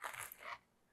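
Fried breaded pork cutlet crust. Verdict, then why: Crispy. Crispy fried breaded pork cutlet crust crunches in two quick, bright bursts, crackling across mid and high frequencies with almost no low end. The crunch stops abruptly after about half a second, leaving near silence.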